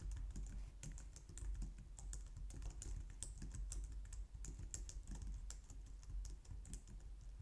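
Both hands type steadily on the keys of a white plastic low-profile wireless keyboard, using long painted nails and fingertips. A quick run of light, sharp plastic clicks and taps with a bright edge sits over a soft low hum. The typing stays continuous and even throughout.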